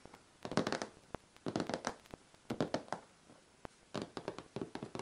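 Long red-painted nails and fingertips tap and scratch the top of a closed, worn, dark-brown vintage hard-shell suitcase with a leatherette (vinyl) covering; the suitcase is medium-sized, hollow, likely empty, and lies flat on a rug. Quick clusters of dry, hollow taps and light scratching come in bursts separated by brief pauses, with a few sharp single clicks in between. Each tap dies away almost instantly.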